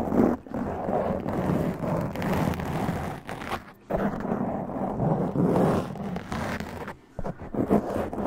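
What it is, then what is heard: Foam microphone windscreen being scratched. Long press-on nails grip and scratch a black foam windscreen on a large condenser microphone. The result is a dense, muffled scratching and rustling, heavy in the low and middle range. It dips briefly near the middle and again toward the end before resuming.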